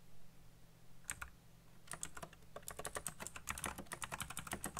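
Fingertips type fast on the keycaps of a black plastic backlit mechanical keyboard. A couple of isolated clicks come first, then a quick, steady run of sharp, bright key clacks over a low, constant hum. Each click is short and dies away almost at once.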